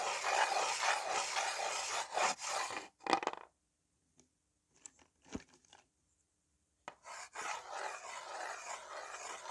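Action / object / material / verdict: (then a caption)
scrape / slate writing board and slate pencil / slate / none. Fingertips rub and scratch a white slate pencil back and forth across the surface of a small, flat, solid green-framed slate writing board with a few slate pencils resting on it. A dense, bright scraping rasp runs for about three seconds and ends in a few short strokes. After a near-silent pause with a few faint ticks and light scratches, the steady rubbing resumes.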